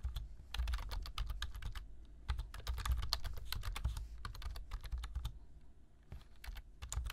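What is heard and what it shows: Fingertips type rapidly on a black plastic computer keyboard, producing a dense stream of sharp, bright key clicks over a low rumble. The taps come in quick bursts with brief pauses between them, each click short and dry.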